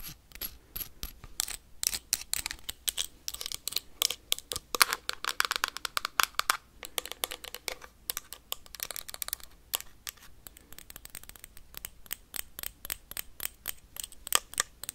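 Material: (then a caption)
Glass. Metal paperclips worn on the fingertips rapidly tap and scratch a small, empty-looking clear glass jar with a black plastic lid. The result is a dense stream of sharp, bright clicks and ticks with scratchy rasps in between, concentrated in the high frequencies with almost no low end and no ringing after each hit.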